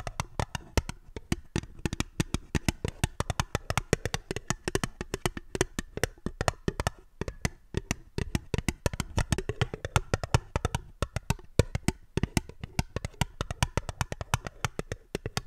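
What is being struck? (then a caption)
Small fluted aluminium tin. Long fingernails rapidly tap a small, hollow, ribbed (fluted) aluminium tin that is held upside down and empty. The taps are short and dry, with bright clicks over a hollow low thump around 98 Hz. Each tap dies away almost instantly, and the tapping runs in steady, uneven bursts throughout.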